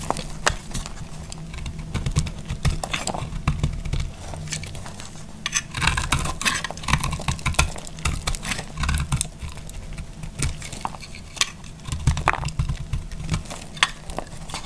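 A utility knife blade slices along the edges of a solid, green, marbled bar of dry soap, producing a quick run of crisp, dry scraping cuts with bright, brittle crackles. The cuts come in dense clusters over a steady low hum.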